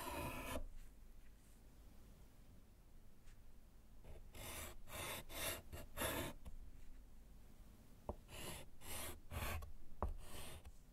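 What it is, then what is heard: Chalk writing on a slate board. A gloved hand writes with pink chalk on a small, flat, solid slate chalkboard in a wooden frame lying on a table. Bursts of bright, gritty scratching and rubbing strokes come in uneven clusters, separated by quiet pauses with a few faint taps.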